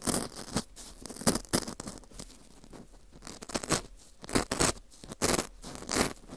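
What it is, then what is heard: Dried wheat gluten fu ring, scraped. A dry, porous ring of dried wheat gluten fu is scraped inside its center hole with a metal dental scaler hook. Rough, crackly scrapes come in uneven bursts with bright, airy texture and quick, dry decays between strokes.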